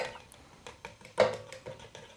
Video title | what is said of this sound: Low-Carb Air Fryer Meals for Keto - Steak, Pork Chop & Chilli Prawns | You can hear that uh skin or crackling